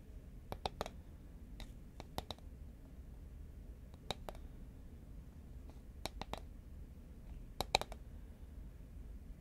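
Fingernails tap the side of a tall, cylindrical cardboard Pringles can made of composite paperboard, held horizontally in both hands. Short, dry clicking taps come in small scattered clusters over a low, steady background hum, each tap dying out almost instantly with a faint mid-pitched, hollow tone.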